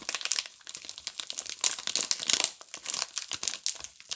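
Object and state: Plastic-wrapped soap bars.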